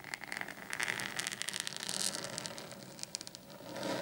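Short painted fingernails on both hands scratch across a large, flat, black desk mat lying on a table. The sound is a bright, dry, crackling scrape made of rapid, brief ticks over a soft hiss with little low end. It swells and fades slightly in irregular strokes throughout.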